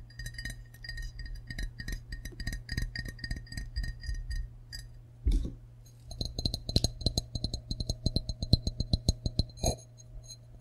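An empty glazed ceramic frog mug is turned in the hands and tapped with fingertips and nails on the rim area, the green back and the unglazed base. Quick, dry clinks and clicks patter steadily over a low, constant hum, with a short pause and a heavier knock near the middle. The taps then resume, brighter and sharper, before another solid knock near the end.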